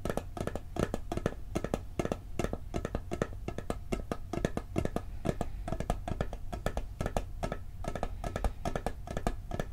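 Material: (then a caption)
Metal. A round, hollow blue and gold metal cookie tin is tilted in the hands and fast-tapped on the lid with fingertips and nails. The result is a rapid, steady stream of short, dry clicks and taps, each with a dull low body and a faint ringing tone, dying away almost instantly.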